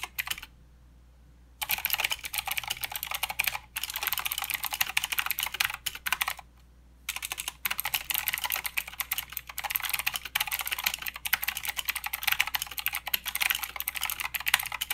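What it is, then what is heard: Plastic mechanical keyboard with clicky switches. Fingertips of both hands type steadily on a plastic mechanical keyboard with clicky blue switches and plastic keycaps. Rapid, bright, sharp clicks run in dense bursts, broken by a short silence near the start and another around the middle.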